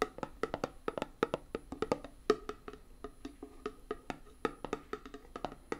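A small, closed, round metal tin with a printed "Hand Gum" label, filled with putty and held in one hand, is tapped on its lid and rim with long fingernails. About thirty quick, dry, woody clicks come in an uneven rhythm, each with a faint hollow tone near 430 Hz that dies away almost at once.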